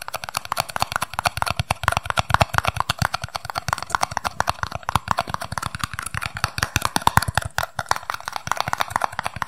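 A small, empty, hollow red and white paper cup is turned in the hands while its base and sides are tapped quickly with fingertips and nails. The result is a rapid, steady stream of short, dry taps with a soft low thump and a papery midrange knock, each dying away almost instantly.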